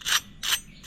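A freshly fried medu vada (lentil fritter) is pressed or broken, giving three short, bright crackling crunches with almost no low end. The sound shows the fritter is crispy and crunchy on the outside and soft inside.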